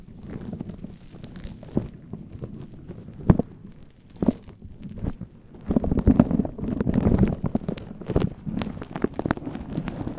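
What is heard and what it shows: Fingertips and nails scratch and rub a fluffy faux-fur synthetic windscreen on a microphone while hands are cupped around it. The result is a muffled, low, rumbling scratching and crinkling, with a few sharper brushes standing out. It grows denser and louder midway through before settling back to a steady rub.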